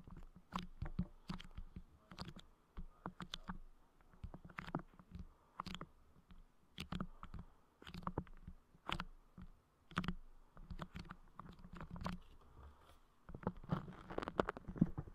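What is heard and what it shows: Fingertips rapidly tap and press on a dome of clear putty clay covering the grille of a Blue Yeti microphone. The result is a close, dense run of soft, dull thumps and sticky clicks with a low body around 170 Hz, each dying away almost at once. A thicker flurry of taps comes near the end.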